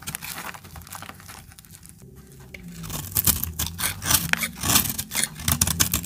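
A utility-knife blade cuts crumbly chunks off a solid, dried orange soap bar held in the hand. The first half is quiet, soft scraping; after about three seconds it turns into louder, bright, crisp crunching and tearing cuts that come in quick, uneven bursts over a low background rumble.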